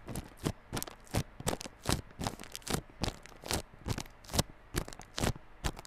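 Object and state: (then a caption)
Plastic-wrapped cardboard earphone box. Fingertips scratch and tap the clear plastic shrink wrap over the front face of a small yellow cardboard Realme Buds Classic earphone box. A steady run of short, crinkly bursts, each a bright, papery scratch with a soft low thump beneath, sits above a quiet background and fades almost instantly.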